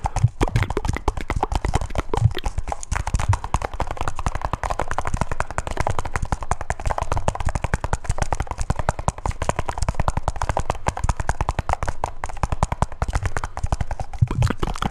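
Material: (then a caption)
Metal. A small, round, hollow silver metal grinder tin with a blue band and red top is tapped on its top and sides with fingertips and nails. A steady stream of quick, dull taps fills the whole clip, heavy in the low end with almost no high ring, each tap dying out almost instantly.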